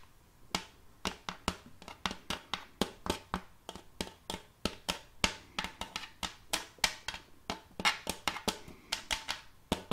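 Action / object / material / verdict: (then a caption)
tap / wooden serving tray / wood / none. Long colored fake nails tap on the face of an empty, round, shallow, glossy wooden serving tray with a rim, held upright. About 33 quick, sharp taps come in an uneven, rapid rhythm, each a bright, dry click that dies away almost at once.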